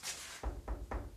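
A brief airy hiss is followed by repeated dull, low knocks on a spot of a fort's brick masonry wall. The knocks give short, deep, hollow thuds that die away quickly. The spot sounds hollow, unlike the solid spot beside it.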